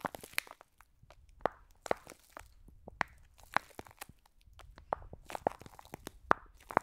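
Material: Plastic, foam.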